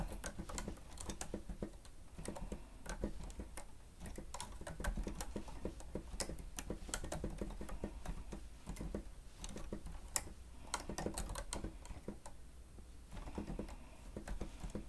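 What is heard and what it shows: Fingertips of both hands press and tap the keys of a grey plastic stenotype keyboard with a hollow housing while typing. The result is a rapid, uneven stream of short, dry clicks and hollow taps that die out almost at once, over a steady low background hum.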